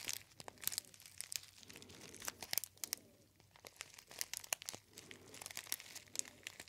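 A gold metallized foil tea bag pouch with a label is crinkled by fingertips next to the ear. The result is a quiet, bright, crackling crinkle made of many short, sharp snaps and rustles. There is almost no low end, and the sound comes in bursts with brief pauses between them.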